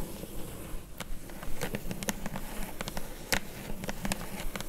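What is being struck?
Corrugated cardboard box.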